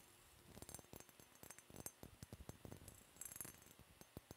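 Long yellow-painted nails tap and scratch a small, clear, faceted glass decanter bottle with a glass stopper that looks empty and hollow. A quick, irregular run of light clicks and clinks carries a bright, high glassy edge, with faint scratching between the taps. Each tap dies away almost at once.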